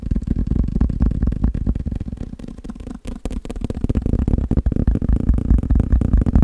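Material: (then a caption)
Paper. A thick, solid block of yellow and white paper sticky notes is held in one hand while the fingertips and nails of the other tap rapidly on its top face. The result is a fast, uneven stream of short, dry, muffled thuds, heavy in the low end with no brightness, pausing briefly near the middle before the tapping resumes.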